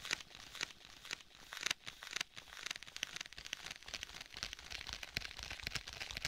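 Fingertips tap and scratch on the cover of a rigid, flat black stitched faux leather folio tablet case held in both hands close to the mic. The result is a steady stream of quick, dry, bright taps and crinkly scratching with almost no low end and no ring after each touch.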